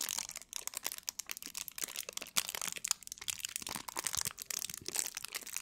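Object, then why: Thin plastic film. A small piece of thin clear plastic wrap is held in both hands while long nails and fingertips crinkle and scratch it. The result is a dense run of sharp, bright crackles and crinkles with almost no low end, each snap dying away almost instantly.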